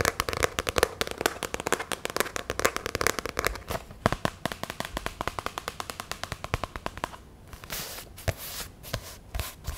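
A black hardcover spiral sketchbook of medium size with a cardboard cover is held up while long nails tap and scratch it. A dense run of quick, dry clicks fills the first seven seconds. Softer scratching follows near the end.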